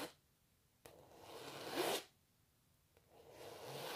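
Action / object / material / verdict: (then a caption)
scrape / painted canvas / canvas / none. Long natural nails scratch the textured canvas of a painting of a cellist, close up. Each dry, raspy stroke starts with a soft tick, swells into a bright, hissing scrape, then stops abruptly, with quiet gaps between strokes.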